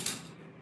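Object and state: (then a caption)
Knocked table. A single knock on a table gives a sharp, bright tap that fades within about a tenth of a second into a faint low residue. The table's material is not stated.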